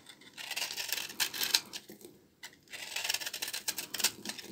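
A small knife repeatedly scrapes and shaves the dry, crumbly surface of an old, dry solid bar of brown laundry soap held in the hands. Bright, crisp scratching and shaving bursts come in two runs separated by a short pause.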